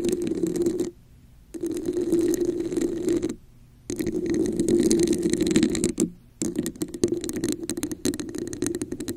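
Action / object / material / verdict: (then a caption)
scrape / textured plastic cup / plastic / none. A red, hollow, textured plastic cup held over the mic is scratched and tapped on its sides with long nails. Heard is a rough, resonant scraping with a hollow mid-range tone, broken by brief silent pauses. Toward the end it becomes quick, uneven clicking taps.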